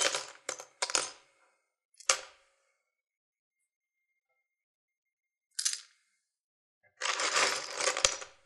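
Fingertips rummage and stir through an open wooden box full of small sewing buttons, mostly plastic with some metal ones mixed in. The buttons click and rattle bright and sharp against each other and the wood in a few short bursts separated by silences, ending in a longer, continuous rattle.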